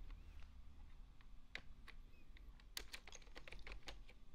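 An index finger pecks the keys of a full-size beige plastic desktop keyboard while the other hand rests on the keys. Soft, brief, bright clicks come at an uneven, unhurried pace, picking up near the end, over a steady low rumble.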